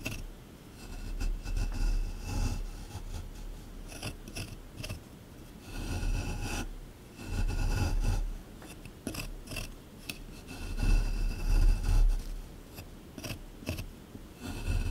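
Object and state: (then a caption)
Plaster excavation block being scraped. A small metal scraper scrapes and chips at the hard surface of a solid plaster dig block from a dinosaur excavation kit. Dry, gritty scraping comes in uneven bursts that swell and fade, with a low rumbling body and brief bright ticks as bits of plaster break away.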